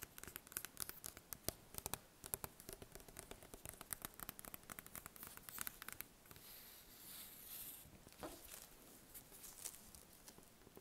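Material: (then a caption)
Bread crust. A large round crusty loaf of bread, one end covered in plastic wrap, is held and tapped with fingertips and red nails, then turned to show the cut end. Rapid, dry, crisp taps on the crust fill the first six seconds. A soft rustling stretch follows, then sparser taps.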